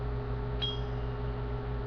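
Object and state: Steel tsuba with a high-pitched ring.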